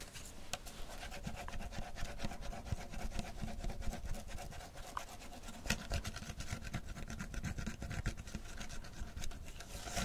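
Long fingernails scratch the printed label and ridged plastic of a clear PET beverage bottle full of amber tea, held in one hand. Steady rubbing, rasping strokes with dense low rumble and faint bright scratchy edges continue throughout.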